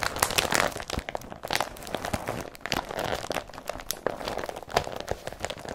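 Both hands crumple and rub an empty blue woven polypropylene IKEA BRATTBY carrier bag with yellow print, working the fabric with their fingertips. A dense, continuous stream of crinkling and crackling is heard, punctuated by brief, sharp crunches. The sound is bright and papery, with little low end and almost no ring after each rustle.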